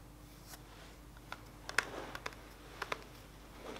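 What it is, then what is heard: Plastic makeup palette tapped with nails. A flat, rectangular black AC On Tour contour makeup palette, hollow and closed, is held up and tapped on its plastic front cover with fingertips and nails. Seven short, dry taps with a hollow click, centered near 1.4 kHz with bright edges, stand out against a quiet, faint background hum.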